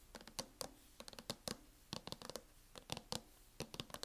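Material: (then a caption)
Plastic. Long nails tap and lightly scratch the lid of a closed laptop in a teal matte plastic hard-shell case. The quick, bright, clicky taps come in uneven clusters, each dying away almost at once with a faint scratchy texture between them.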